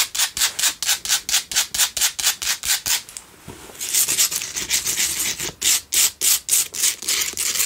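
Long nails scratch the sides of a pink Himalayan salt single candle holder held close, making rapid, bright, gritty rasping strokes. A short stretch of softer, continuous rubbing comes in the middle before the sharp repeated scratches resume.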